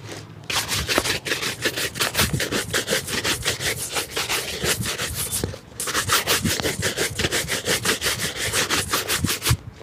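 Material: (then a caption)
Leather. A dark leather shoe with a rubber sole, hollow and empty and held in the lap, is brushed with a wooden-backed bristle shoe brush. Quick back-and-forth strokes make bright, scratchy swishes at a steady pace, with a brief pause around the middle before the brushing resumes.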